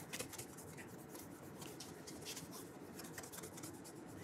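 The toe of a burgundy leather cap-toe dress shoe, with a wooden shoe tree inside and held in one hand, is rubbed with an orange polishing cloth wrapped around the fingers. A quiet, steady swishing rub continues throughout, with repeated bright, scratchy strokes over a soft low rumble.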